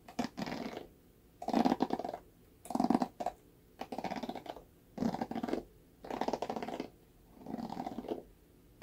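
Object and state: Plastic paddle hairbrush.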